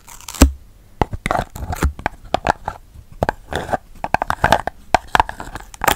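Fingertips and nails tap and scratch a small, hollow red patterned cardboard gift box with a purple lid, held in the hands close to the microphone. It produces a rapid, uneven series of sharp, dry taps with a hollow, low body, interspersed with brief rustling scrapes. Each tap dies away almost instantly.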